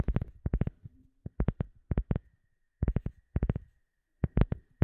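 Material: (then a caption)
Rubber. A round, flat black rubber sheet held up behind the microphone is tapped and scratched with the long glossy fingernails and fingertips of both hands. Quick clusters of dull, low, thumpy taps die away at once, with brief quiet gaps and faint scratching between them.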